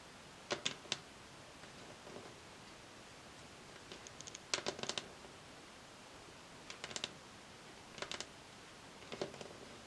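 Long acrylic nail tips from both hands tap and click quickly and repeatedly on a solid varnished wooden tabletop. The sound is a series of short bursts of sharp, bright clicks that die away almost instantly, separated by quiet pauses over a faint steady hiss.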